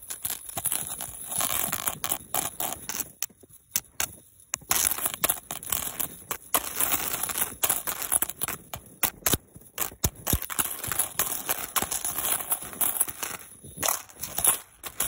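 A long, twisted silver metal link chain is held in one hand and shaken and swung, producing dense, bright jangling and rattling with sharp, high clinks of the links. The rattling comes in rapid bursts, with brief near-silent pauses around the four-second mark and again near ten seconds.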